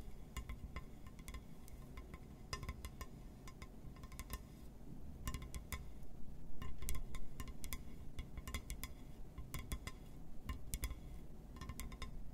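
A glass surface is tapped and scratched, giving quick, bright clinking and ticking sounds in irregular clusters over a steady low rumble. Each tap dies away almost at once, with the clicks growing a little louder and busier in the middle of the clip.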